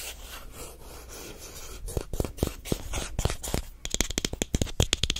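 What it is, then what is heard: Plastic lotion tube. A white plastic lotion squeeze tube, held in both hands, is scratched and scraped with the fingernails. A soft, steady rubbing hiss gives way to sharper, separate scrapes and clicks, ending in a run of quick, bright scratches.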